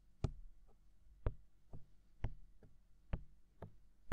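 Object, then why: Silicone ear of a binaural microphone. Fingertips steadily tap and knock on the hollow, mounted white silicone ear of a binaural microphone. Each tap lands as a short, dull, low thump with a brief bright click on top, spaced out in a slow, even series with soft rustling between them.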